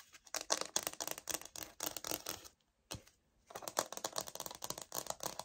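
Long nails tap and scratch the grain-textured surface of a light oak laminate wood-look floor sample held and tilted in the hands. Rapid, bright, dry clicks and scratchy ticks come in dense bursts, break for about a second with one lone tap, then resume just as quickly.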